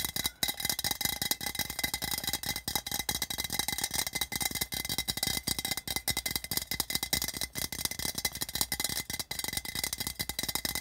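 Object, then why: Metal tin can. Fingertips and nails tap quickly on the printed body of a hollow, patterned metal tin can lying on its side on red carpet. The result is a dense, steady stream of short, bright, rattling metallic clicks that die away almost instantly, with a faint tinny ring.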